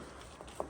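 Two short knocks on cement render over brickwork, applied in cold weather, as a test for hollow-sounding delamination. The knocks are dull and brief with a mid-pitched thud that dies almost at once, and the second is louder than the first. No hollow result is confirmed; the render is due to be rechecked after 6 to 12 months.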